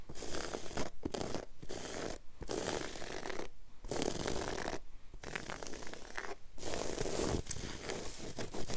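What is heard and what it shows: Long acrylic nail tips scratch and drag in fast strokes across a flat, solid, low-pile woven textile floor carpet. A dense, rough rasping texture with a heavy low end comes in steady bursts, broken by several brief silent pauses.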